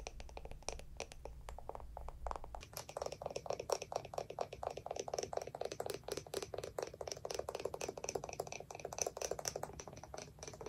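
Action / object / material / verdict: tap / small wooden lidded jar / wood / none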